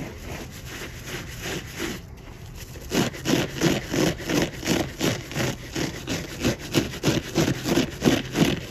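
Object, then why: Foam car sponge with scourer pad. A large, soft, porous yellow polyurethane foam car sponge with a green scourer pad on one side, covered in soapy lather, is scrubbed and rubbed with fingertips, then squeezed and flexed by hand. A quieter, steady rubbing hiss gives way after about three seconds to a regular series of louder, crunchy, scratchy strokes, about a dozen at roughly three per second, each with a low-mid body and a bright, wet rasp.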